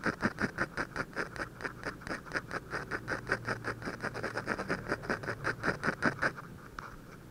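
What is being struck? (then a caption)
Drawing paper sheet scratched by a ballpoint pen. A ballpoint pen tip, held at a low angle, scratches and hatches shading beside the nose of a drawing on a thin white paper sheet. About 38 short, dry scratching strokes repeat rapidly and somewhat unevenly, with a bright, papery texture. The strokes stop near the end, leaving a quiet tail.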